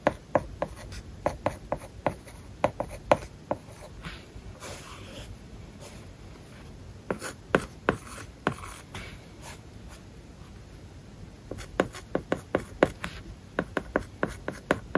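A plastic stylus tip writes on an iPad's glass screen covered with a matte, paper-like plastic film. It makes crisp, short taps and light scratchy strokes. Bursts of quick taps come at the start, around the middle and toward the end, with softer scratching between them.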